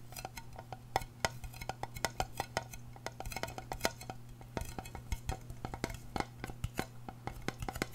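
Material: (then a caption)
Aluminum. A small, round, hollow silver aluminum tin is tapped and scratched on its rim and lid with long painted nails. The result is a rapid, uneven stream of short, dry clicks and scrapes with a light metallic ping. A steady low hum sits underneath.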